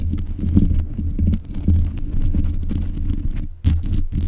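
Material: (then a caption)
Metal mesh. Long nails tap and scratch the hollow mesh grille of a black metal desk microphone, making a dense run of dull, boomy low thumps and rustling scrapes that sit almost entirely in the low end. The sound is close and continuous, with a brief dip near the end before a sharper tap.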